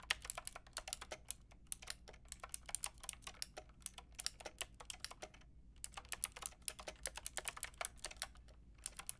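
Long painted nails and fingertips type on a white and pink Lofree mechanical keyboard with round plastic keycaps. They make a quick, uneven run of bright, crisp clicking taps that die away almost instantly, with a brief pause near the middle. A faint, steady low hum sits underneath.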